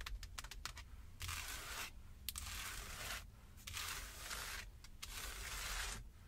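Long acrylic nails and fingertips tap and scratch the rim of a solid Jeep steering wheel wrapped in black leather or synthetic material while the car is parked. Quick, dry clicks at the start give way to long, bright scratching strokes, with more taps mixed in between.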